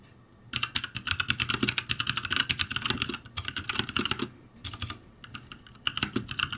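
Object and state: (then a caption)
Plastic mechanical keyboard. Fingertips type on the plastic keycaps of a backlit ROCCAT G65 mechanical keyboard, producing rapid, bright clacking keystrokes centered around 2.9 kHz with a soft low thump beneath. A dense run of typing lasts from about half a second to just past four seconds, followed by a brief lull and then more scattered bursts of keystrokes to the end.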